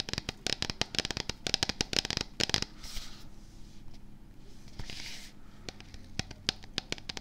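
Fingertips and nails tap and scratch the printed label side of a medium, hollow Axe & Sledge plastic supplement tub with a black lid, held in both hands just behind the microphone. Dense bursts of sharp, bright clicks and taps fill the first two and a half seconds. Softer scratchy rustles follow, then scattered single taps to the end.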